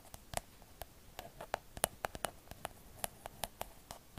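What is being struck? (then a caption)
Hollow plastic cloud-shaped night light. Long acrylic nails tap and scratch a hollow, pink, cloud-shaped plastic night light held in the other hand. An irregular run of quiet, crisp clicks, each with a brief hollow plastic tone in the mid-range and a bright tick, with faint scratchy rustle between the taps.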